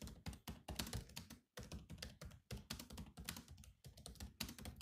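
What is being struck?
Laptop keyboard with plastic chiclet keys.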